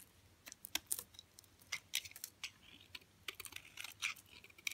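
A blue utility knife blade shaves and cuts flakes off the edge of a hand-sized, solid rectangular bar of hard green Dalan olive oil soap held in one hand. The result is a quick run of crisp, dry, high-pitched scraping and cutting clicks, each short with almost no ring and no low end.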